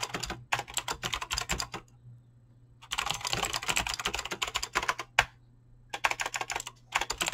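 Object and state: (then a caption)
Mechanical keyboard with PBT plastic keycaps. Fingertips type fast on a mechanical keyboard with clicky green switches and PBT plastic keycaps, producing bright, rapid clacks in bursts separated by short pauses. A faint steady low hum runs underneath throughout.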